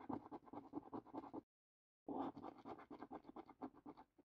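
A coin edge scrapes the coating off the panels of a paper lottery scratch card in quick, repeated rasping strokes. The scratching comes in two bursts separated by a short pause of silence, with a dry, mid-toned scraping texture.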